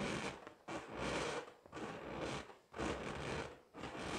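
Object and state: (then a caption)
Latex balloon scratched. A hollow, pink, inflated latex balloon is held in both hands and scratched slowly with long acrylic nails. Five long, raspy strokes come at roughly one per second, each a broad scratchy hiss with a bright edge that swells and fades before the next begins.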